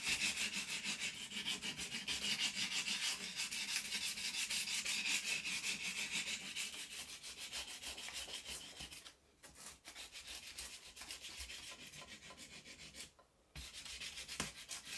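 A hand-held sanding block is rubbed back and forth over the solid cast iron movable jaw of an old Vono bench vise, a vintage British vise, whose surface is coated with white body filler and which rests on a metal bench. A steady, bright, hissy scratching repeats at a quick rhythmic pace, with almost nothing in the low end. The sanding pauses briefly twice, near 9 seconds and again near 13 seconds.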